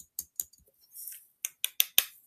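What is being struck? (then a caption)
Plastic novelty flip coin. A novelty flip coin from a mystery bag is tapped against a pair of glasses, giving six short, dry, high-pitched clicks with a brief soft rustle between them. The clicks have no metallic ring, and the coin turns out to be plastic, not metal.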